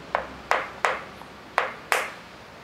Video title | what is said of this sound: Dashi : Le Secret Mystique de la Cuisine Japonaise - SLICE PEUPLES - DOC COMPLET | Quand elle n'est pas encore bien sèche, ça sonne creux.